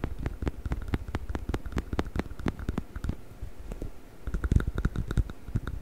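Fingers scratch and squeeze the body of a hollow yellow rubber chicken toy held in front of a microphone. A rapid, steady series of short, dry scratchy taps comes with deep, soft thumps underneath. The taps ease off briefly in the middle, then return a little louder toward the end.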